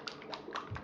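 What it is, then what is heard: Jar of cream with a marble, shaken. A jar of cream with a marble inside is shaken back and forth to make butter. The marble clicks around inside with a series of quick, light taps.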